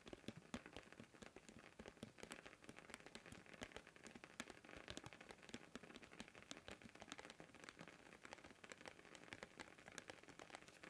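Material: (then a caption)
Plastic. Fingertips tap and scratch along the rim of a thin, round blue plastic container lid held edge-on in both hands. The result is a steady, dense patter of quick, dry clicks and crackly scratches with a bright edge and very little low end, sounding much like rain on a surface.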